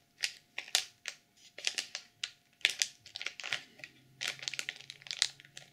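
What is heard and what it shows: Long purple nails scratch and press the cover of a black sequin journal sealed in clear plastic film. The result is a quick series of short, bright, crinkly scratching bursts with sharp attacks and almost no ring, over a quiet background.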